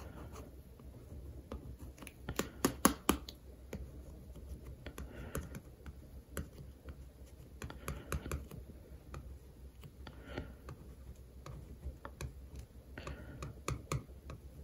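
A plastic pen tip traces and scratches over a paper sticker on a glossy baking textbook cover and the cover next to it. Quiet, dry scratching is punctuated by short, sharp ticks, with a louder cluster early on, over a steady low hum.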